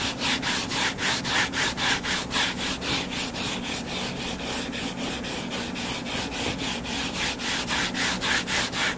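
Short fingernails scratch the cover of a closed hardcover paper book lying flat. The result is a steady run of quick, rhythmic rubbing strokes, bright and papery with a faint low hum beneath.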